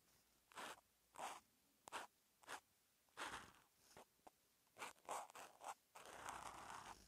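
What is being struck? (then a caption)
Felt-tip marker on a notebook paper page. A silver felt-tip outline marker with a teal outline is written by hand across a flat sheet of lined white paper in an open notebook while forming Japanese characters. The tip makes about eleven short, separate scratching strokes with a raspy midrange and bright edges, followed by one longer continuous glide. Each stroke ends quickly with little ring.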